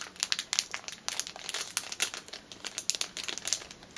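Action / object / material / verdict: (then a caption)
scrape / clear plastic bag with a rubber band inside / plastic / none. Fingers crush and crinkle a small clear plastic packet holding a black rubber band. The result is a quiet, continuous run of bright, sharp crackles and rustles, with dry, quickly fading snaps and almost no low end.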